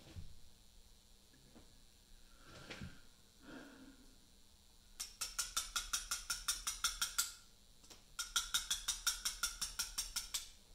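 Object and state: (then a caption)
Letter-cutting on a Portland limestone block. A small mallet strikes a steel chisel held against a large, solid Portland limestone memorial block, making letter-cutting taps. After a few soft, faint scrapes, two quick runs of bright, sharp taps follow, about 28 in all. Each tap is short, with very little ring.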